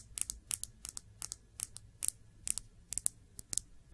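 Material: Glass.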